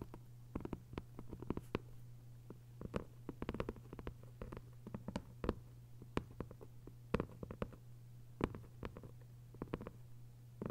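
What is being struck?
Hardcover paper book.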